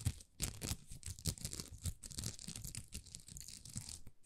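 Long nails scratch across a thin, flexible plastic rhinestone sticker sheet covered in small plastic rhinestones. The result is quiet, dense scratching and crinkling, with bright, crisp ticks over soft low thumps. The strokes come in quick, uneven bursts that stop dead with almost no ring.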